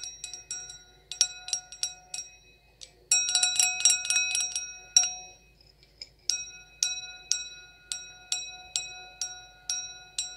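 An empty, clear stemmed wine glass with a thin, hollow bowl is tapped with long acrylic nails. The taps give bright, high-pitched pings with short ringing overtones, and a rapid flurry of taps in the middle is followed by a pause and then evenly spaced single taps.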